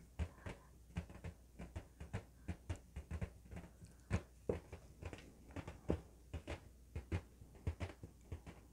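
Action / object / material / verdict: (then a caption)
tap / inflated latex balloon / latex / none. An inflated, hollow blue LED-lit latex balloon, held between both hands, is tapped and scratched with fingertips and nails. A quick, irregular series of soft, dull, low thumps follows, each with a faint dry scratch and a short, dead decay. The taps sit over a quiet background.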